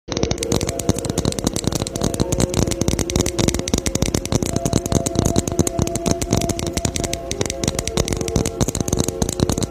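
A Christmas ornament ball is tapped rapidly and continuously for about ten seconds. The hits are dense, short clicks with a low body, and a faint ringing tone sits under the taps throughout.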